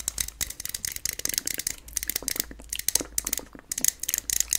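A medium aluminium aerosol SPF 50 sunscreen spray can with a plastic cap, hollow and held up, is tapped and scratched with long painted nails and possibly shaken. This gives a fast, strong, bright rattle of sharp clicks and scratches with almost no low end.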